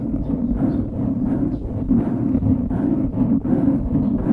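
Fingertips scratch the sides of a dark grey foam windscreen on a microphone, producing a continuous, muffled rustling and scratching. The sound is dense and low, with most energy in the lows and low mids and nothing bright above it.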